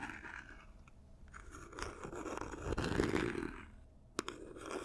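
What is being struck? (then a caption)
Paper-covered cardboard gift box. Long nails scratch and tap the sides and edges of a small, hollow, silver paper-covered cardboard gift box as it is turned in the hands. Soft, crinkly scraping swells and fades, with a sharp, bright tap near the end.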